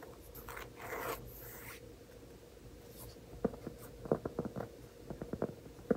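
A large, flat, solid round cork trivet is held in both hands while fingertips scratch its surface, making soft, bright rasping swishes over the first two seconds. After a quiet pause, the fingertips tap it in eleven short, dull knocks that die away almost instantly. A faint steady hum runs underneath throughout.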